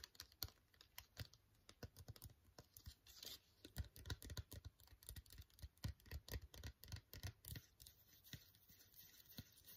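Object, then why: Foil sheet mask sachet. Long fingernails tap and scratch a full, flat, sealed silver-white No7 foil sheet mask sachet. A quick, uneven run of short, dry clicks and crinkly scrapes carries a low thud under each tap and a bright, papery hiss, with each hit dying away almost at once.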